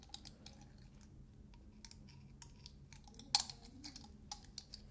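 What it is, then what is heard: Metal shaker lid tapped with fingernails. Fingernails scratch and tap the ridged metal dome lid of a small glass salt shaker, making quick, bright ticks over a quiet low hum. The ticks are short and dry, with no ring, and one sharper, louder tap comes near the middle of the clip.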